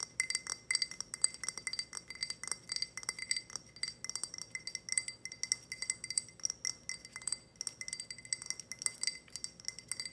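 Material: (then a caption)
Glass. Long red nails tap and scratch a tall, empty, clear glass tumbler with a ridged, grid-textured surface. Rapid, bright clinks and clicks come in quick clusters with very short ring. The sound is thin and high-pitched, with almost no low end.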